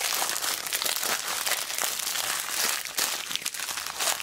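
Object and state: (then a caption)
Plastic ziplock bag of beads. A small clear plastic zip bag, full of mixed colourful plastic beads and charms, is squeezed and crinkled by fingertips with long black nails. It makes a steady, bright crinkling with scattered sharp crunchy flicks of plastic and almost no low end.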